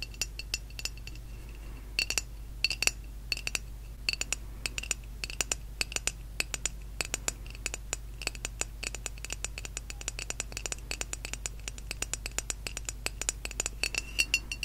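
A small white glossy ghost figurine, probably ceramic, is held up in both hands and tapped by the long nails of several fingers. It makes a rapid, uneven stream of bright, clicky ticks with a faint glassy ring near 2.7 kHz. Each tap dies away almost at once over a steady low hum.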